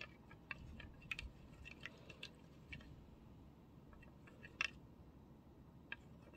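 Fingertips and nails tap and click on the rim and bowl of a medium-sized, thin-walled, empty pink glass serving dish with a wavy, flower-like fluted rim, held in both hands. The result is scattered, very short, bright glassy ticks centered around 2.7 kHz that die out almost instantly, over a low, steady background hiss.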